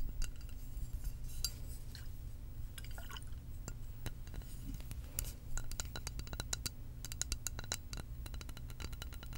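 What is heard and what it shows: Long acrylic nails tap rapidly on a tall glass lava lamp vessel filled with blue liquid and wax and topped with a metal cap. The taps are short, bright, glassy clicks that die away almost instantly over a steady low hum, with the liquid inside possibly sloshing.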